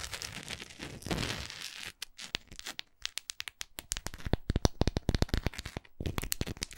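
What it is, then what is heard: Wax pillar candle. A large solid orange wax pillar candle with a textured surface is held in hand and scratched and tapped with long acrylic nails. The first two seconds are a dense, rough scratching that swells around the one-second mark. It then gives way to a long run of sharp, dry clicks and taps that barely ring.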